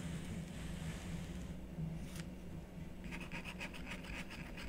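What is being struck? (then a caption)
Scratch-art paper board with wooden stylus. A wooden stylus scratches curved lines through the coating of a black scratch-art card lying on a wooden table. Soft scraping sits over a steady low hum, with one brighter stroke near the middle. The clip ends in a quick run of short, crisp, high scratching strokes.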